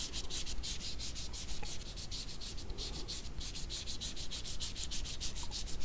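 Small dried jujube fruits (red dates) with wrinkled skin are held at the fingertips of both hands and rubbed against each other. The result is a steady run of dry, crinkly rubbing strokes with a bright, papery hiss, over a low background rumble.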